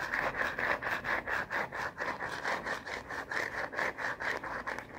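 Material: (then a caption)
Plastic. Fingernails scratch and rub quickly back and forth across the printed back of a plastic phone case with a black bumper, fitted on a smartphone. The result is a steady run of raspy strokes, about two per second, with a dry, bright scraping hiss and almost no low end.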